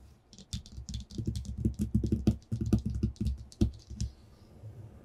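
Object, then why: Paper sheet on a wooden tabletop. Short bare fingertips with short nails tap and scratch on a flat, thin white sheet of paper lying on a tabletop. Quick, irregular taps land as dull low thumps, with bright, dry scratching clicks over them. The flurry eases off after about four seconds into a faint, quiet rustle.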